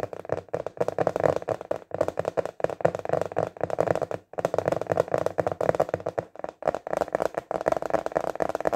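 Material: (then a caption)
Plastic. Fingertips tap rapidly on the flat surface of a translucent, clear plastic container lid, which is turned from landscape to portrait orientation partway through. The taps are dry, short and hollow-sounding, centered in the midrange with almost no ring, coming in quick flurries broken by brief pauses.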